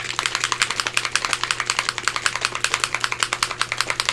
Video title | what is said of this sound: Grungy Mixed Media Accents for Journal Pages – Grungy Bee Journal | you want to shake it can you hear that ball